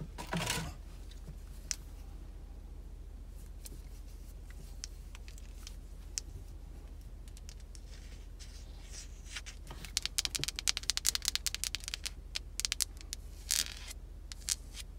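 Long red acrylic nails scratch and tap across a large, solid, oval cream-colored bar of soap with a carved surface, held in both hands. Soft, bright scratching and crisp clicking taps sound over a steady low hum, growing busier and denser in the second half of the clip.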